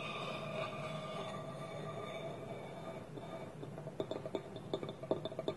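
A small, hollow, polished wooden bowl, its wooden lid held against it with both hands on a table, is scratched and tapped with nails and fingertips. A steady, textured scratching with a faint hollow ring around 630 Hz fills the first few seconds, then gives way to a quick, uneven run of short, dry taps with bright clicky tops.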